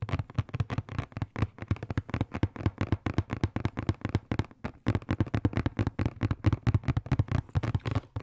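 A medium-sized, hollow, rectangular blue and black printed cardboard box is held in both hands close to the microphone and tapped and scratched with fingertips and nails. The result is a fast, steady stream of short, dull, hollow thumps with a low body and very little brightness. Each tap dies away almost instantly, with a brief pause near the middle.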